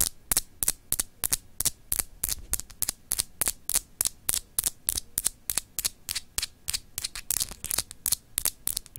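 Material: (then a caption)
Glass. Long acrylic nails scratch a palm-sized solid clear glass globe paperweight with etched grid lines. About 35 short, bright, dry scratches follow one another at an uneven pace, each stopping almost at once. A faint low hum sits underneath.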